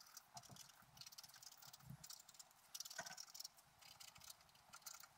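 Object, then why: Coated scratch-art paper sheet scratched with a wooden stylus. A wooden stylus scratches lines into the coating of a flat black scratch-art paper sheet lying on a table. It makes quiet, bright, dry scratching in a rapid run of short, rasping strokes, with little low end and almost no ring after each stroke.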